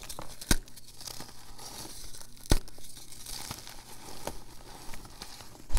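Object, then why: Magnesium carbonate gym chalk chunks. Small solid chunks of reformed purple gym chalk (magnesium carbonate) with glitter are held in both palms and crumbled and rubbed between the fingers into powder over a bed of loose chalk powder. Soft, dry crumbling and gritty rubbing fill the clip, with a few sharper snaps as chunks break, under a low steady hum.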